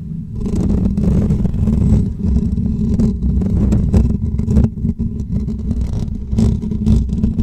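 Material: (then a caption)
Metal mesh. Short natural fingernails of both hands scratch over the top and sides of a hollow metal wire mesh microphone grille. The result is a dense, continuous, low rumbling scrape, dotted with brief brighter ticks as the nails catch the wires.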